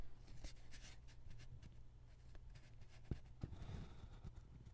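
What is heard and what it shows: A metal-bodied ballpoint pen scratches across a single flat white paper sheet lying on a wooden table as a hand draws a cat outline, while the other hand steadies the sheet. Faint, brief scratchy strokes with bright edges sit over a steady low hum, with a few sharper ticks standing out.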